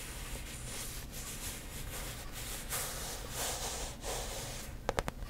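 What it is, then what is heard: Coated canvas handbag tapped with nails. Long nails tap quickly on the front panel of a hollow, rainbow-print coated canvas handbag held in front of the mic. Soft, breathy rustling and hiss with a low rumble run for most of the clip, then three sharp, quick taps ring out near the end.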